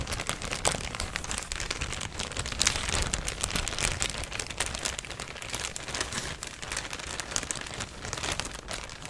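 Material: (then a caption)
Plastic. A thin, empty, yellow printed plastic shopping bag is crinkled and scratched with fingers and nails. It makes a steady, dense stream of bright, crisp crackles and rustles with no ring after each crackle.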